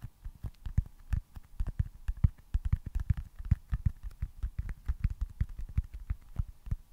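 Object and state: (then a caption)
Foam stress ball, tapped. A small, solid, smooth white foam stress ball with red baseball stitching is held in front of a microphone and tapped and scratched with fingertips and nails. The result is a steady stream of rapid, dull, low thumps that die away almost instantly, with faint bright scratchy edges between them.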